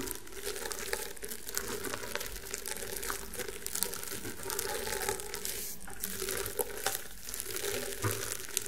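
Fingertips and nails scratch and rub across the coiled weave of a flat, round woven rattan table mat. The result is a steady, dry, crinkly scratching texture with small bright ticks and a low, muffled body underneath, holding an even level throughout.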